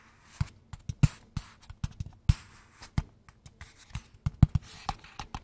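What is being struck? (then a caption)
Small closed cardboard box. A small, closed, hollow square kraft cardboard box is held in both hands and tapped and scratched with fingertips and nails. About twenty-three short, dull, low thumps come in an irregular rhythm, with faint scratchy rustling between them. Each thump dies away almost at once.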